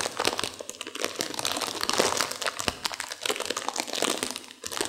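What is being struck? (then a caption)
Plastic instant-noodle packet with dry noodles inside. A sealed plastic instant-noodle packet with dry noodles inside is squeezed and crinkled by hands and long nails to crunch the noodles. Dense, bright plastic crinkling runs continuously for about five seconds, broken by sharp, short crunches and cracks from the noodles inside.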